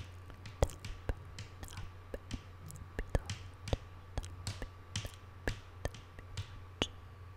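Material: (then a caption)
Wood. Long painted nail tips tap on a flat, solid wooden tabletop, making a series of short, dry clicks at an irregular, unhurried pace. Each tap is sharp with bright edges and dies almost instantly, over a steady low hum.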